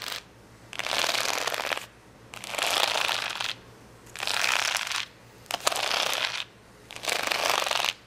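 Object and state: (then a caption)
Plastic rhinestone sticker sheet. Long fingernails scratch across the gem rows of a large sheet of rainbow acrylic rhinestone stickers lying flat. Five bursts of dense, bright, crackly scratching are each separated by short pauses, with a faint steady low hum underneath.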